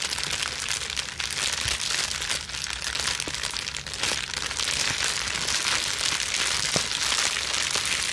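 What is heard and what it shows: A crumpled sheet of clear plastic bubble wrap is twisted and scrunched between the hands, with long nails against the plastic. The result is a steady, dense, bright crinkling and crackling that runs throughout, with occasional sharper clicks standing out.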